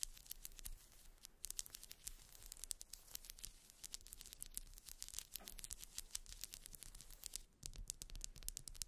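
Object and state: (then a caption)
Wax pillar candle. A grey ribbed pillar candle of solid wax, about hand length, lying on faux fur, is scratched and tapped along its ridges with long white almond-shaped nails. The result is a dense run of quick, dry, bright clicks and scratchy strokes with no ring, over a faint low rumble.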